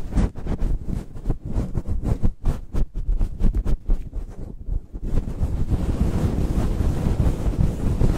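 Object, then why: Faux-fur microphone windscreen. A fist-sized, grey-white fluffy faux-fur windscreen covering a microphone is scratched and rubbed rapidly with the fingertips and nails of both hands. Deep, muffled rumbling scrapes come in quick, choppy strokes for the first five seconds, then merge into a steady, dense rubbing roar, with almost nothing bright above the low end.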